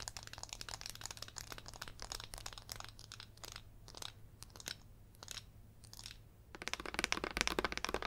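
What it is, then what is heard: Glitter-coated glass candle jar. A gold glitter glass candle jar filled with white wax has its rim, sides and base tapped and scratched with long yellow acrylic nails. The result is a dense stream of quick, dry, crackly clicks and scratches, bright and sharp with almost no ring. A steady low hum runs underneath, and the tapping grows louder and busier near the end.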